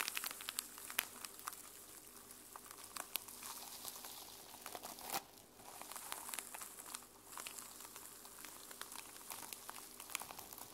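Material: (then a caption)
Sequins. A small sequin-covered fabric journal with a teal sequin cover is held in both hands while fingernails scratch across the sequins. The result is quiet, bright, crinkly scratching dotted with sharp little clicks, with brief pauses between strokes.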